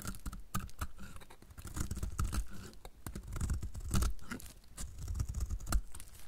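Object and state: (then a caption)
Dry bar soap being shaved. A solid, dry bar of magenta-painted soap held in the hand has its face scraped and shaved with a utility knife blade. Dense, uneven scratchy rasps come one after another with a low rumbling body and brief bright crackly edges.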